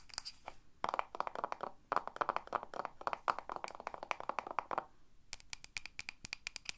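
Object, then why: Glass candle jar filled with wax, lid on. Long nails tap quickly and rhythmically on the side and top of a pink glass Ava & May candle jar, full of solid wax with its lid on. Runs of dense, clicky mid-toned taps come in bursts with very short ring. A quieter, brighter series of crisp taps closes the clip.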